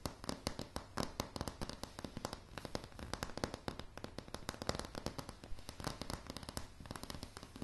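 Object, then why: Wooden plank floor. Long polished nails of both hands tap rapidly on a light, solid wooden plank floor. The result is a quick, uneven stream of sharp, clicky taps, each with a dull low thud underneath and almost no ring.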